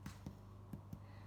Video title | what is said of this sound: Wholemeal Seeded Loaf and a Surprise!! | I'll show you what it should sound like if it's cooked that like hollow kind of sound